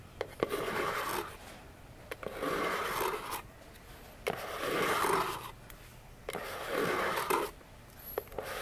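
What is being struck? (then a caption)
Small cardboard box. Long nails scratch and rub along the sides of a small, hollow orange cardboard box with silver foil print, standing upright on a table. Four papery, rasping strokes of about a second each rise and fade. Brief sharp clicks from the nails fall in the quiet gaps between them.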